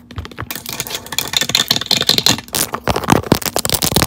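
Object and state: Silicone keyboard-style phone case.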